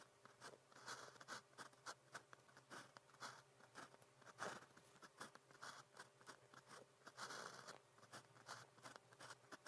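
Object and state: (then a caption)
Pen writing on paper. A pen nib scratches across a sheet of flat grid practice paper in a steady run of writing strokes. The clip is quiet, dry, short scratchy bursts with a bright, papery hiss, over a faint, steady low hum.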